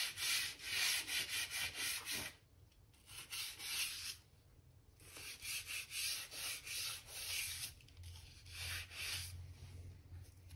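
A stiff gap brush is scrubbed along the joints between solid oak floorboards that have a damp patch, making bright, scratchy, rhythmic brushing strokes. The strokes come in quick bursts separated by short pauses, over a faint low hum.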